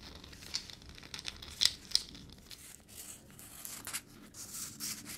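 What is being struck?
Peanut in its shell.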